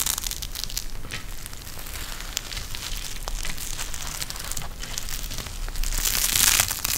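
A pink eye mask with fabric trim and a clear plastic shell filled with gel beads is bent and squeezed in both hands. It produces steady crinkling and crackling with sharp bright snaps over a low rustle. The sound swells louder and brighter near the end.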